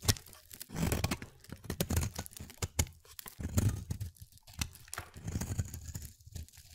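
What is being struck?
Bar of soap cut with a blade.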